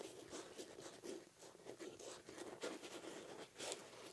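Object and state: Nylon fabric pouch being scratched.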